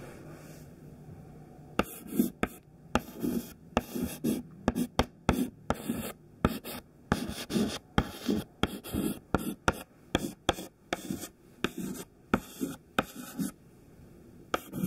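A thin white stick of classroom chalk, held in the fingertips, writes letters on a smudged black chalkboard. About 25 sharp, dry taps mark the strokes, joined by soft, scratchy rubbing as the chalk drags across the board. Each tap ends almost instantly, with quiet pauses at the start and end.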